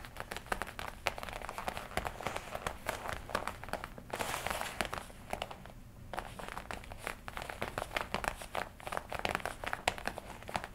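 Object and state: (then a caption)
Leather jacket being scratched and crinkled. Long nails scratch and squeeze the chest panels of a worn black and red leather jacket, making a dense run of sharp crinkles and scratchy clicks. A smoother, brighter rustle swells briefly near the middle before the crisp crinkling resumes.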